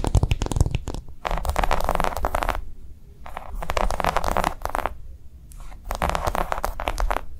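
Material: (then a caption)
Silicone. Long nails of both hands quickly tap and scratch a flat, round green silicone coaster with concentric ridges lying on a dark cloth. Bursts of soft, muffled thumps with a low rumbling body alternate with brighter, dense scratchy rubbing, separated by short quiet pauses.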